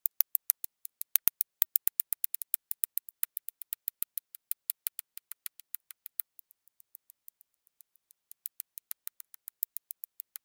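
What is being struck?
Resin drills and plastic drill pen on adhesive canvas.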